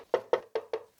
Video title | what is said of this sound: Je reçois mes premières lyres ! (UNBOXING Intimidator Spot 60 ILS - Chauvet DJ) | sonne un peu plus creux aprs c'est normal c'est creux à l'intérieur